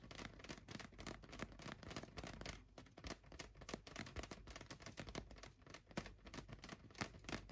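A large, hollow, light-blue inflated latex balloon resting on a couch is tapped on its sides with fingertips and nails. The result is a quiet, rapid, continuous patter of short, dry taps, each a soft low thump with a bright clicky edge, dying away almost instantly.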